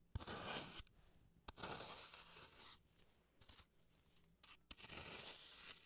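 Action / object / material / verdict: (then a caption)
scrape / floral foam block / floral foam / none. A slim carving tool scrapes and carves a solid green floral foam block held in gloved hands. Bursts of bright, gritty scraping and crumbly tearing come in strokes, with sharp little clicks between them and brief quieter pauses. The scratchy, airy texture fades and returns several times.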